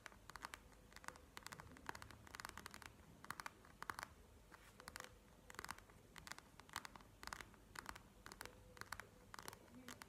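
Long nails tap and scratch across the beaded surface of a plastic gel-bead eye mask lying flat on a table. Quick bursts of sharp, dry clicking taps come in clusters, with bright scratchy texture between them over a faint low background hum. Each tap stops almost instantly, leaving the overall sound quiet and crisp.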